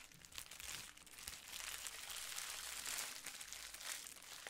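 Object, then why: Plastic bubble wrap sheet. A clear plastic bubble wrap sheet is rubbed with fingertips, then crumpled and squeezed in both hands. The result is a steady, bright crinkling and crackling, almost all in the high range with very little low end. It builds from quieter rubbing to denser, louder crumpling near the middle and end.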